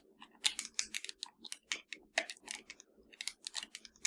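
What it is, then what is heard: Hollow plastic game controller. Long nails tap and scratch the buttons and sticks of a hollow black plastic PS4 controller. About 21 quick, bright, clicky taps come in an irregular run, with faint scratchy rasps between them. Each tap dies away almost instantly and has almost no low end.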